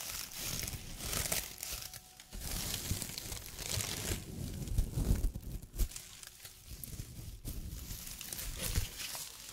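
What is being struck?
Small straw broom ornament.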